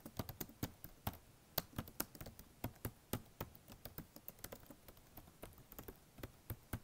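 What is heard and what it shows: Fingertips tap and type on the black plastic keys of a blue HP notebook laptop keyboard. About 28 short, dry keystrokes come in an irregular, quiet typing rhythm, each a soft low thud with a bright click on top that dies away almost instantly.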